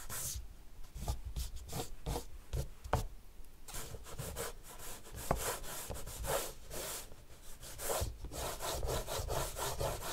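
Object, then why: Paper sheet scraped with soft pastel. A green soft pastel stick, held in the fingers, rubs and scratches across a large flat white paper sheet in a black frame lying on a marble table while drawing strokes. Repeated dry, scratchy strokes come in short bursts of bright hiss over a soft low rumble, some faster and denser than others.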